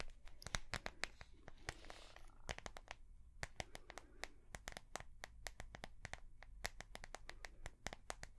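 A small ring-binder notebook with a translucent soft plastic cover, held in the hands, is tapped with long fingernails. Dozens of quick, sharp, bright clicks sound in an uneven rhythm, with a short crinkly scratching of the plastic in between, over a faint low hum.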